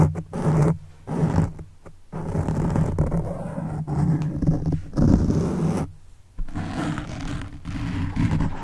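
Fingertips of one hand scratch and flick the side of a black foam microphone windscreen. The result is a dense, low, rough scratching rumble in uneven bursts, broken by a few brief near-silent pauses.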